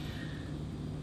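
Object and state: Nothing is struck.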